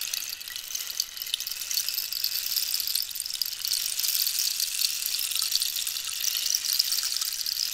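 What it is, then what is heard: Cactus wood rainstick. A hollow, dried cactus-wood rainstick is held horizontally while long nails scratch and tap along its textured wood. The result is a dense, continuous, bright scratching hiss with fine crackly detail, sitting almost entirely in the high range with no low end. The level stays fairly steady throughout.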